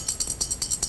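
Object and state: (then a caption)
Sad iron with a loose pebble rattling in its hollow handle. A wrought iron sad iron, called a slave iron, is shaken so a small chunk of metal or pebble rattles inside its hand-forged handle, which was flattened, rolled and closed around it to make noise during ironing. About nine quick, bright, jingly rattles sound in steady rhythm, each dying away almost at once with very little low end.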